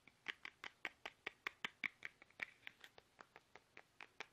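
Fingertips tap fast on a small, soft, hollow, squeezable plastic toothpaste tube held upright in both hands. About 23 quick, quiet, dry clicks sound in a loose, uneven rhythm. Each tap is bright, centered near 2 kHz, with no low end, and stops almost at once.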